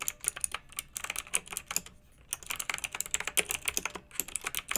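Both hands with long nails type with their fingertips on a pink backlit mechanical keyboard with round, typewriter-style plastic keycaps. Quick, bright, crisp clicks and clacks come in uneven bursts, with a brief pause near the two-second mark. Each keystroke stops almost instantly, leaving little low end.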